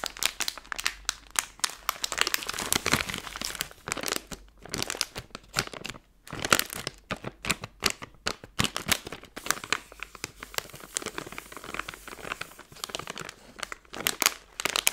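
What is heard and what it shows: A hand-sized Skittles candy bag made of plastic film is squeezed in both hands to crinkle it, then flattened out. Dense, bright crinkling and sharp crackles come in rapid bursts with very little low end, each snap dying away almost at once, with brief quiet gaps between handfuls.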